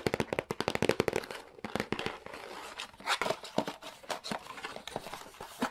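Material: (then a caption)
Cardboard. Fingertips and nails tap quickly on the top of a hollow, printed cardboard retail box for a SNES Classic Mini, making a rapid run of short, dry, papery knocks that blur into scratchy rustling. Near the end, the lid begins to open with a soft scraping and crinkling.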